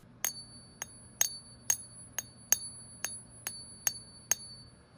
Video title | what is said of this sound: Buying Gold with Monero (XMR) on Veldt Gold – Full Walkthrough + Coin Test | This is an example ping test. You can hear the sound of gold.